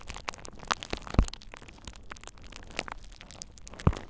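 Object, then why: Plastic bubble wrap sheet. A thin purple plastic bubble wrap sheet over the ears of a dummy-head microphone is squeezed and popped by fingertips. Soft crinkling and crackling run throughout, broken by a few sharp, brief pops, the loudest with a deep thumping low end.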